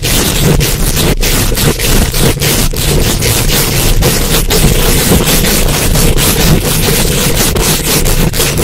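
Super long acrylic nails quickly scratch and tap a hollow, rounded metal mesh microphone head from both sides. The result is a loud, continuous, dense scraping roar with a heavy low rumble and bright, hissy texture, broken by rapid brief gaps in the bright range.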